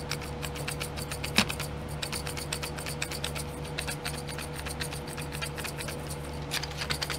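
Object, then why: Plastic tray of small domed plastic pots. Long glittery nails rapidly tap and scratch the lids of small clear domed plastic glitter pots in a pink plastic tray. A dense run of quick, bright clicks and scrapes, with one sharper tap near the start, plays over a steady low hum.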